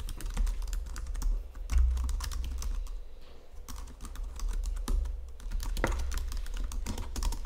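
Fingertips and nails tap and press the keys of a white plastic Logitech computer keyboard resting on marble. The result is a fast, continuous run of light, bright clicks with little ring, carried over a steady low hum.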